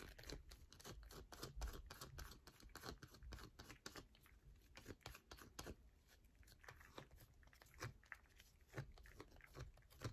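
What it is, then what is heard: Bar of soap. A solid yellow bar of soap held in the hand is scratched and tapped quickly with long nails. The result is a dense run of crisp, bright scratches and clicks over a soft low rumble.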